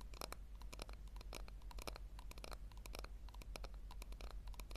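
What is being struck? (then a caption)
Small plastic tub. A small, hollow pink plastic tub, tilted so its base shows, is scratched and tapped with long lilac nails. Quick, irregular bright clicks and scratchy ticks come in a steady stream over a constant low hum.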